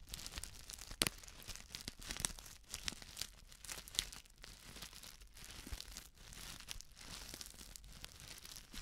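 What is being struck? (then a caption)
Plastic instant soup sachet with dry contents. A flat, sealed plastic instant soup sachet filled with dry contents is crinkled and scratched with long nails. The result is a steady stream of bright, crisp crinkling and scratching with many sharp, quick clicks and brief tearing-like rustles, and no ringing after each sound.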